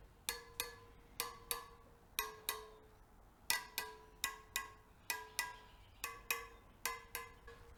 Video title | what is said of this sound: Kawasaki KLR 650 First Start- Mice Nest in Air Box Front Brake Caliper Flush - Techn' Moto | lightly tap each spoke and if their is a loose spoke it will give you like a dull sound